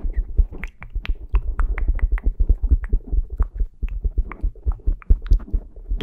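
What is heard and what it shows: Fingertips with short painted nails tap and pat a small, soft black foam windscreen on a handheld Zoom recorder. The result is a steady stream of deep, muffled thumps with soft crackling rustle and occasional brighter clicks, each dying away almost instantly.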